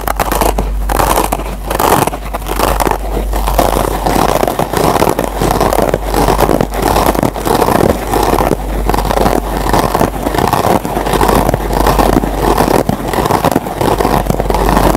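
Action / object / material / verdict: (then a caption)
scrape / foam sponge with nylon scour pad / nylon / none. Fingertips with short nails scratch the green nylon scour pad of a yellow foam scrub sponge up close. The result is a dense, continuous crackling scrape that swells in quick rhythmic strokes, with most energy in the midrange, little high-end, and a steady low hum underneath.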